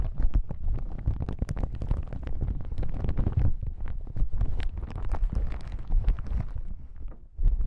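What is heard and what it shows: Fingertips tap and scratch a folded yellow plastic hazmat suit lying on a table. The result is a dense stream of quick, dry thumps and rustles, heavy in the low end with almost no brightness, holding steady until a brief quiet dip near the end before a final louder tap.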